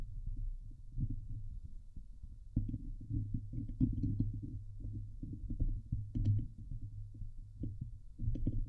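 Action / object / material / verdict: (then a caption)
scrape / metal mesh microphone grille / metal mesh / none. Long nails scratch the hollow metal mesh grille of a Blue Yeti microphone, producing a dense run of low, muffled thumps and rubbing scrapes centered around 105 Hz. Faint bright ticks from the mesh break through now and then over the heavy, boomy rumble.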